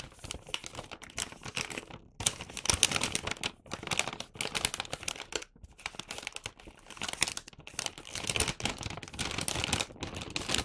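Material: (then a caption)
Paper. A medium red Santa-print paper gift bag, hollow and flattened, is held in both hands while palms and fingertips press, flatten and rub it, then lift and turn it. The result is continuous bright crinkling and rustling of paper in bursts, with brief quiet pauses between handling moves.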